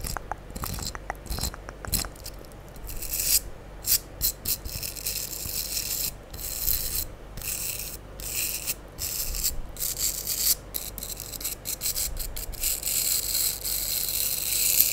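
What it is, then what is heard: Foam sponge block. A rectangular light-blue porous foam sponge block, held in one hand close to the microphone, is brushed and scraped with a small comb or spoolie brush on a yellow pencil-like handle. Dry, bright rasping strokes come in quick bursts with short pauses, mostly high and hissy over a faint low rumble, each stroke stopping almost at once.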